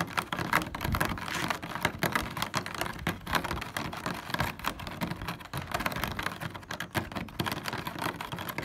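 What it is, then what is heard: Plastic honeycomb car grille. A hand rapidly taps and scratches its fingertips and nails across the hollow cells of a black plastic car grille with a honeycomb mesh. The result is a dense, continuous stream of quick plastic clicks and scrapes, with short, dry hits that barely ring out.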